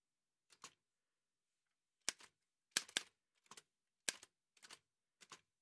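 Fingertips in white satin gloves press the keys of an old dark-grey metal Remington manual typewriter with paper loaded and a hollow body. Irregular bursts of bright, sharp clacking taps come in quick pairs and clusters separated by short silences, each tap ending almost instantly.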